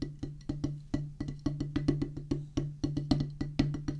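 A flat oval drum practice pad with a black rubber playing surface on a solid, light wooden base rests on a wooden table and is tapped rapidly with two wooden drumsticks. The result is a quick, unevenly spaced run of short, dull, woody knocks with a low thump and a midrange tone, little brightness, and almost no ring after each hit.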